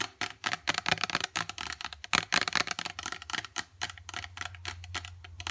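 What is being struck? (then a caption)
Plastic squeeze tube, partly filled. Long dark acrylic nails rapidly tap and scratch a partly filled gold plastic face mask squeeze tube with a white cap. The result is a fast stream of sharp, bright, dry clicks that stop almost instantly, mixed with light scratching. A faint low hum sits underneath toward the end.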